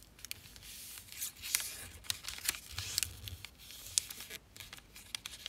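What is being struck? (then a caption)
Thin sheet of origami paper. A single thin sheet of black-and-white zebra-print origami paper, partly folded into a long diamond shape, is folded, creased and pressed along its edges by fingertips and long painted nails on a black surface. The result is quiet, bright crinkling and rubbing with many sharp, brief crackles and taps, and almost no low end.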